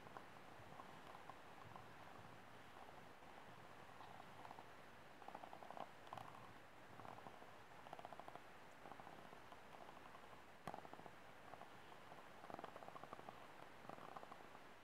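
An empty white plastic cup, held upside down in both hands, is tapped lightly by fingertips and short nails on its ribbed walls. The result is quiet, hollow plastic ticks and taps in uneven clusters, with a soft resonance around 780 Hz over a low background rumble.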